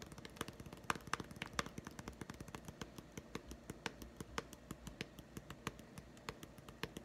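Fingertips tap rapidly on a small, hollow, green plastic putty egg whose two halves are joined shut. Each tap is a short, sharp, dry click with almost no ring, over a faint low hum. The taps come in a quick, fairly steady stream for the whole clip.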